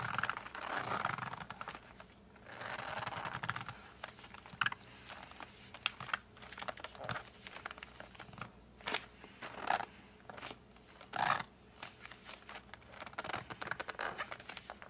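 A flat cardboard colored pencil case, held by its back side in both hands, is gripped, squeezed and rubbed with fingertips and thumbs. The result is a dense run of dry crinkling, scratching and quick tapping clicks, broken by short, brighter squeaks from the cardboard surface, all at a soft, close level.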